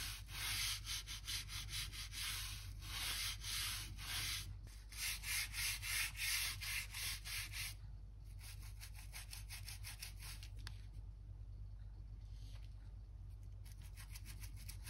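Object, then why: Wooden floor planks. A narrow bristle crevice brush scrubs dirt and dust along the seams between solid wooden floor planks. Rapid back-and-forth strokes, about three per second, make a bright, scratchy hiss over a steady low hum. The strokes are louder for the first eight seconds, then turn softer and thinner.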